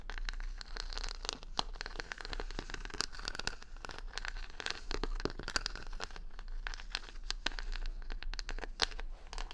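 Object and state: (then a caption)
Rhinestone-covered wooden hair brush being scratched. Long nails scratch over the plastic rhinestones covering a wooden hair brush held close to the mic. The result is a dense, continuous run of sharp, bright clicks and crackling scrapes with no ring-out, over a faint low hum.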